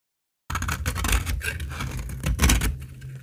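A utility blade carves curls from the edge of a solid, dry, translucent amber laundry soap bar with stamped lettering. After a moment of silence, the blade scrapes through the brittle soap in a dense run of crisp, crackly cuts. The cuts have a strong low thud and bright, dry shaving noise on top.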